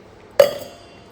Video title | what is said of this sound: এই পরিপাটি অভ্যাস গুলো থাকলেই তবে একটা গৃহিণী পরিপাটি সংসার তৈরি করতে পারবে | শুকনো শুকনো আছে, শুকনো শুকনো খেজুরই ভালো লাগে, একদম শুকনো শুকনো। ঠিক আছে, ঠক ঠক করে আওয়াজ হচ্ছে।